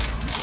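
A tile-inspection rod is rolled along the grout lines of a ceramic exterior wall tile, producing a steady, even rolling rattle with no change in tone. The constant sound shows the tile is bonded and not lifted.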